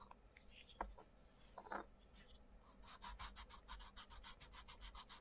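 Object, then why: Wooden coloured pencil on thin paper page. A wooden coloured pencil scratches across the thin paper page of an open colouring book lying flat, while the other hand's fingertips hold the page still. A few scattered rubs and scrapes come first, then the pencil settles into a rapid, even run of back-and-forth strokes. Each stroke gives a dry, bright rasp over a faint low hum.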